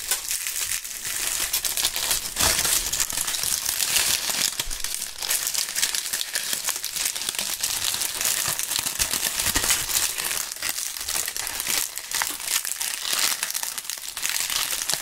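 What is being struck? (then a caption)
Autumn leaves crumpled in the hands. Dry, brittle autumn leaves held in both gloved hands are crumpled and crushed by fingertips in front of binaural mics. The result is a continuous, bright crackling and crunching texture with almost no low end, holding a steady level for the full fifteen seconds.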